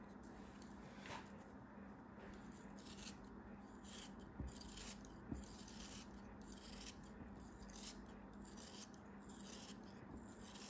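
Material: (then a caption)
Sand. A molded beige kinetic sand castle piece, held in the hand, is sliced with a craft knife. The result is a quiet, continuous run of soft, gritty rasping strokes with bright sandy hiss over a low steady hum. Two brief sharp clicks stand out midway.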